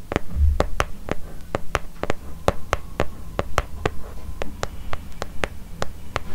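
A closed, brown leather-covered notebook with a red ribbon bookmark, held upright beside the microphone, is tapped and scratched on its leather cover with long fingernails. Sharp, dry clicks fall at an uneven pace over a steady low hum, with soft scratching between them.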